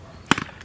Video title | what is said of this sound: 🇵🇫 Recette de Tahiti : Poisson cru 🐟 au lait de coco 🥥 avec Zarrah 018 | vous secouez, vous entendez qu'il y a de l'eau dedans